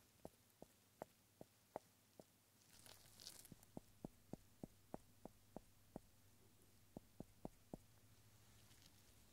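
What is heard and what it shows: A solid round cork stopper held in a gloved hand is tapped and scratched with the eraser end of a pencil, giving a series of short, dry, mid-pitched taps. A brief burst of bright, rough scratching breaks in between the taps, then the tapping resumes over a faint low hum.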